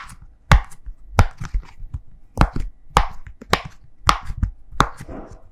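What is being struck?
Silicone push pop bubble toy.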